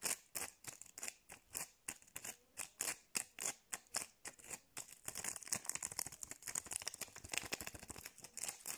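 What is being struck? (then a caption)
Acrylic rhinestone gem sticker tapped and scratched by fingernails. Long blue nails scratch and tap quickly over the raised gems of a small clear acrylic rhinestone sticker held in both hands. Dense, bright clicking and scratching sits mostly above 2 kHz, with evenly spaced taps for the first five seconds giving way to a faster, continuous scratching texture.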